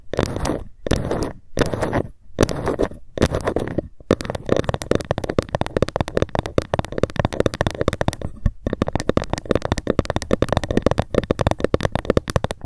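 A ruler is tapped and scratched with long fingernails. The first four seconds bring five short bursts of dull scratching, then a rapid, steady run of quick, dry taps with a low, muffled body and almost no ring. Near the end the taps briefly pause before resuming at the same fast pace.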